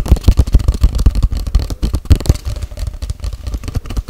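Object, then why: Cardboard tube. Long white-grey cardboard tube, about 40 cm, hollow and empty, is held horizontally close to the mic and tapped rapidly with long white-painted nails. The result is a fast, continuous run of deep, hollow, boomy thumps concentrated in the low end, each one dying away almost instantly with very little brightness.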